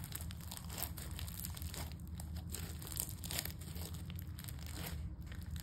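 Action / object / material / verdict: scrape / foam-bead slime / foam beads / none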